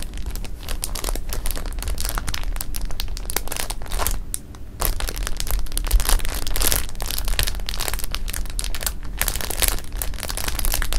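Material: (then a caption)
Plastic. Flat palms and fingers press and rub across a full clear plastic bag of jelly beans resting on fabric. The result is a steady, dense crinkling and rustling of plastic, with bright crackles and soft crunches over a low rumble. There is a brief quieter dip about midway through.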